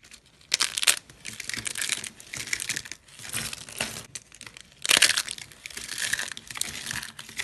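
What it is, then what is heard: Dry, brittle soap shavings. Thin, brittle yellow slices of dry soap are crushed and crumbled between fingertips and hands with pink manicured nails. They give off dense, bright crunching and crackling in continuous bursts, with the loudest sharp crunches just before the one-second mark and again around five seconds.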